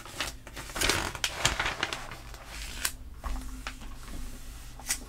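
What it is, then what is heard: Glossy paper magazine. A flat hand with long nails rubs and pats the pages of an open glossy paper catalog magazine lying on a table, and pages are turned. Crisp, bright papery swishes and crinkles come in quick bursts, with soft low thumps from the pats underneath. Each sound stops short, with almost no ring.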